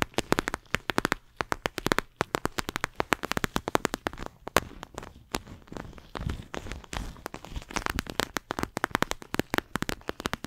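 A flexible clear plastic eye mask filled with gel beads, held near the microphone, is scratched and squeezed with long acrylic nails. Dense bursts of sharp, dry crackling clicks and crinkles follow one another rapidly, with softer squishy rustling in between. Each tick is bright, broadband and dies away almost instantly.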